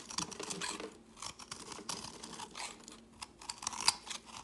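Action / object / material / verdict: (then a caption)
scrape / bar of soap carved with a metal blade / soap / none. A chunky, solid, speckled purple soap bar held in the fingers is carved with a metal blade, and crumbly flakes fall onto a woven mat. A quick series of dry, bright scraping and crackling bursts is heard, mostly high-pitched, with almost no low end and very short decay.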